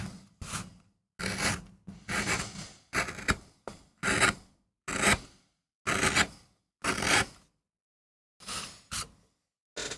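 A steel gouge scrapes and cuts grooves into a small, flat, solid MDF relief printing block, with chips piling up beside the block. Short, rasping strokes repeat at an uneven pace, each one a bright, dry scratch that stops abruptly, separated by brief silences.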